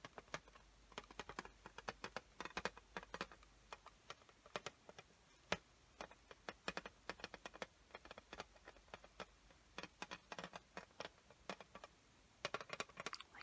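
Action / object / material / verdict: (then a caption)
tap / clear plastic lid of a watercolor paint set / plastic / none. Long fingernails tap and scratch the clear plastic lid of an opened watercolor paint set while it is held up. The result is a quiet, irregular run of short, dry, clicky taps, each dying away almost at once. Light bright scratching fills the gaps, with very little low end.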